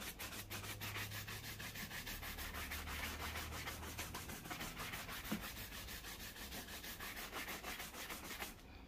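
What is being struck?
Leather shoe brushed with a bristle brush.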